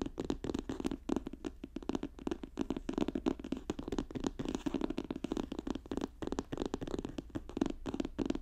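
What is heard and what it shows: Both hands rapidly tap a magenta notebook with an apparent plastic cover, lying flat on a fur rug, with fingertips and nails. The result is a dense, continuous patter of short, dull taps. Their energy sits mostly in the low-mid range, with very little brightness and almost no ring after each tap.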